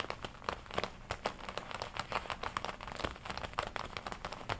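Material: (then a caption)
Leather. Long nails tap and scratch the red leather front panel, folded across, of a worn black and red leather biker jacket. Quiet, rapid, uneven taps mix with crinkly scratching and brief bright clicks that die away almost instantly.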